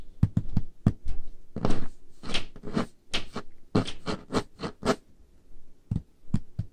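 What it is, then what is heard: Wooden table top tapped with fingernails. Painted fingernails tap and scratch on a large, solid, dark-stained wooden table top. Short, dull, low knocks alternate with longer, brighter scraping strokes across the surface, in an uneven rhythm.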